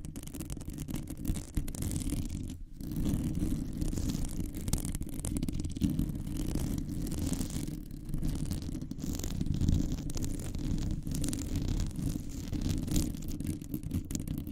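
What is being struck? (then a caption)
Metal wire mesh microphone grille. Long nails of both hands grip around a hollow, rounded metal wire mesh microphone head and scratch it continuously. The result is a dense, low, rumbling scrape with constant fine crackle, briefly dropping out for a moment near the start before resuming steadily.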